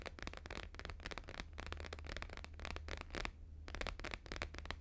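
Fingertips and short nails fast-tap a thin, flat, square laminated paper sheet with a blue-green holographic grid print, lying on a fur rug. The result is a dense run of quick, crisp, bright clicks and crackles, with a brief pause near the end before the rapid tapping resumes, all over a steady low hum.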